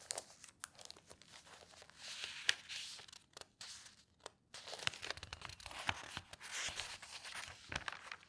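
Hands with long nails turn the pages of an open tabloid newspaper of thin newsprint lying on a table, lifting each sheet. Bright, papery rustling and crinkling swell and fade, broken by sharp ticks and snaps from the paper and nails, with only brief quiet gaps.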